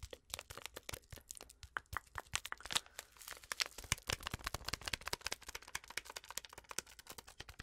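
Long acrylic nails rapidly tap, scratch and crinkle a small, flat, sealed Twinings tea packet made of foil-lined paper, still full with its tea bag. The result is a quiet, steady stream of sharp, bright clicks and crisp crinkling with almost no ring after each tap.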